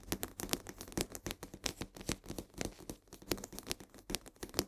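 Long nails tap and scratch rapidly along the sides of a full 1 kg cardboard box of coarse salt held upright. The result is a fast, uneven series of short, dry taps with bright, crisp clicks over a faint papery scratching. Each tap dies away almost at once.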